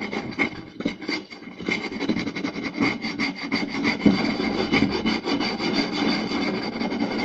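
Fingertips and short nails rapidly scratch and tap across the surface of a round, solid wooden plate. The result is a continuous, dry, raspy rubbing texture broken by quick, irregular taps, with a bright scratchy edge over a woody body.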